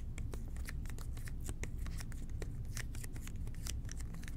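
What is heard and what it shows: Fingertips and short nails tap and scratch quickly on the label of a hollow red plastic toilet cleaner bottle with an angled nozzle, held in both hands. Rapid, dense, bright clicks and scrapes sound over a steady low hum.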